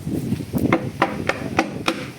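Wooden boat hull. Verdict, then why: Solid. Knuckles knock five times on the wooden hull of a fishing boat being checked for rot, giving short, dry, hard-sounding knocks with a mid-pitched tone and almost no ring. The wood here sounds solid, and only one particular part of the hull is rotten.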